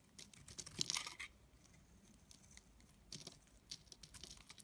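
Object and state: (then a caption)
Bar of soap being scraped. A metal blade scrapes and cuts thin curls off a solid, palm-sized blue bar of soap with embossed lettering, held in the hand. The sound is a soft, bright, crackly scraping in short, quiet bursts, with a longer cluster near the start and another later, separated by near-silence.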